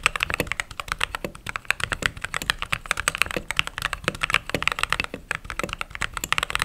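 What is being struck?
Mechanical keyboard with plastic keycaps.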